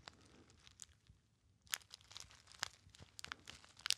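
A small gold metallized foil pouch, hollow and apparently empty, is crumpled by fingertips close to the ear. It makes soft, bright crinkling with sharp high crackles scattered throughout, and the crackles grow louder and denser after a quieter stretch in the first half.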